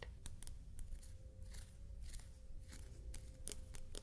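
Large buttons made of shell are traced, tapped and scratched with fingernails, giving soft, bright clicks and scratchy strokes over a low steady rumble. The buttons are glossy on the front and textured on the back.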